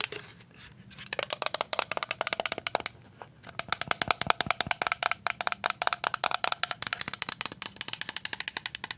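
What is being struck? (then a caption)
Plastic liquid soap pump bottle. A full white plastic liquid soap pump bottle, turned to show its bottom, is tapped on the bottom and side with paper-clip nails. About 55 quick, dry clicks come in rapid bursts with brief pauses, each bright, hollow tick dying away almost instantly, with a tone around 1.3 kHz.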